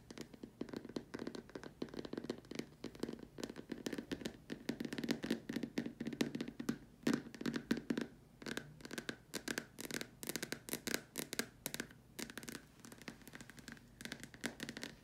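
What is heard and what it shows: Long nails tap and scratch at the sides and around the top opening of a large, empty, white hollow plastic dome lamp shade. Quick, dense clicks and rustling scrapes ring briefly with a hollow body tone low in the range, over a steady faint hiss.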